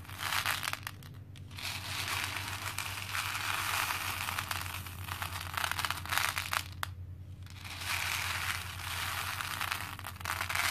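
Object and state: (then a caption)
Plastic pearl beads poured in a plastic bowl. Both hands scoop handfuls of small cream plastic faux pearl beads from a pink plastic bowl and let them trickle back in. The result is a dense, bright, continuous clattering and clinking, with brief lulls between pours, over a steady low hum.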